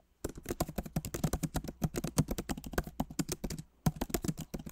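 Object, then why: Laptop keyboard, plastic keycaps in a metal body. Both hands type rapidly with their fingertips on the plastic keycaps of a backlit MacBook Pro Magic Keyboard set in a solid aluminum body. About 32 quick, soft, dry clicks with low thuddy bodies follow one another in a steady flurry, each dying out almost instantly. The typing pauses briefly near the end and then resumes.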